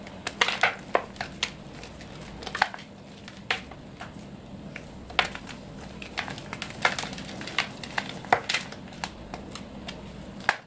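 Fist-sized white reformed gym chalk (magnesium carbonate) pieces, solid and powdery, taken from a pile of chalk cones in a teal bowl, are crushed and crumbled between bare fingertips and palms. Irregular sharp, dry crackling snaps with bright, gritty tops sound over a soft, steady crumbling hiss and a faint low hum. Each snap dies away almost instantly.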